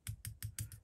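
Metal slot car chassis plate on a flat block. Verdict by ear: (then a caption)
Curved. A metal chassis plate from a RevoSlot Porsche 911 GT2 slot car, held by one corner, is tapped so it rocks against the block beneath it. Six short, dull taps sound with a brief bright tick and almost no ring. The slight rocking shows the plate has a very slight curve.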